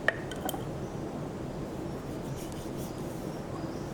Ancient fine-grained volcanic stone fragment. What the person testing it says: เวลาเคาะเนี้ยแป๊งแป๊งแป๊งแป๊ง แป๊งเพราะมันจะแข็ง